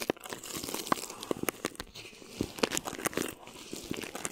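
A flat hand rubs and crinkles clear plastic film stretched over a mesh microphone head, while the fingertips and long nails brush across it. The result is a dense stream of crisp, dry crackles and sharp snaps that flare and fade irregularly, with bright, hissy highs and almost no low end.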